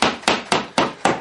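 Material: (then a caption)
Drywall. Five sharp knocks on drywall over a wooden stud, each with a brief firm thud that decays quickly. The wall sounds solid rather than hollow, marking the stud location for hanging a shelf.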